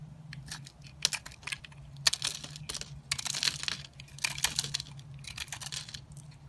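Fingers with painted nails hold a small, solid pink soap bar with an airy, porous inside while a metal box-cutter blade scrapes and carves crumbly pieces off it. Crisp, bright scraping and crunching comes in short, dry bursts over a faint steady low hum.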